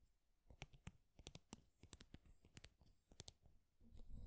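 Fingernails scratch and tap along the length of a thin, flat, small, solid wooden popsicle craft stick. About fifteen quiet, dry, sharp clicks stand out over a soft scratching rustle, each dying away almost instantly.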